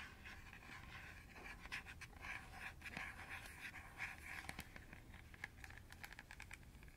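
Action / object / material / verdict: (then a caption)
scrape / plastic colander / plastic / none. Long nails and fingertips scratch and tap along the radial slots of a round, hollow, empty green plastic colander held close to the microphone. A steady, airy scratching rasp fills the clip, punctuated by sharp, bright clicks and taps. The plastic gives a dry, papery texture with no ring.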